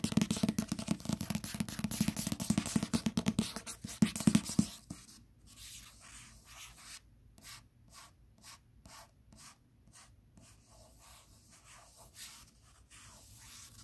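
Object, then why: Paperback book with glossy card cover. Fingertips with short nails tap and rub across the glossy cardstock cover of a *Different Seasons* paperback, a solid block of paper held flat. The first five seconds are a loud, dense run of quick scratchy taps and rubbing with a low papery thump. It then drops to softer, sparser taps separated by short silences.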